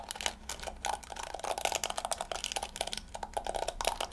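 Long fingernails scratch and flick the yellow plastic bristles of a small round hairbrush with a pink plastic body. The result is a rapid, uneven stream of dry, crisp clicks and ticks, with a bright upper edge and a tone centered around 785 Hz. Each click dies away almost instantly.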